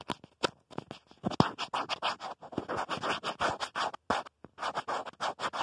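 Fingertips and nails scratch and tap the back of a smartphone's black plastic protective case near the camera. The result is a quick, uneven run of short, dry scratching bursts with brief taps, each dying away almost instantly with no ring.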